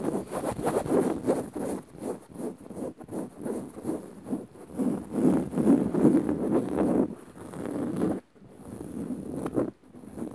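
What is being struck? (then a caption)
Woven fabric padded cushion. Long nails scratch the dark woven fabric of a soft, padded upholstered cushion, making a steady run of quick, uneven rasping strokes with a dull, muffled body and a faint high hiss throughout. The scratching briefly stops near the eighth second, resumes, then dips once more near the end.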